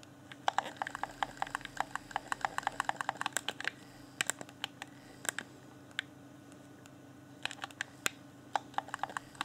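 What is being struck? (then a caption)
Plastic game controller. Fingertips rapidly tap and click the buttons and D-pad of a hand-sized, hollow, clear plastic Xbox One Afterglow game controller, producing sharp, bright plastic clicks in quick flurries. The clicking thins out midway, pauses for about a second and a half, then resumes in another burst. A faint steady low hum sits underneath throughout.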